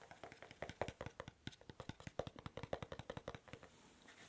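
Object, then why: Small cardboard gift box. A small, hollow, cube-shaped dark navy cardboard gift box, held in the hand near the ear, is tapped and scratched with the fingertips and nails. A quick, uneven run of light, dry taps with a hollow mid-range tone dies away almost at once, mixed with soft scratching that carries on more quietly at the end.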